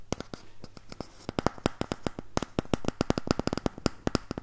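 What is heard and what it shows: An empty, hollow cardboard toilet roll tube is first scratched between both hands, then held upright close to the mic and tapped and scratched with the fingertips. Dozens of quick, dry, hollow taps and clicks sound in an uneven rhythm over a soft scratchy rustle. Each tap dies away almost instantly, with a muted low body and a bright papery edge.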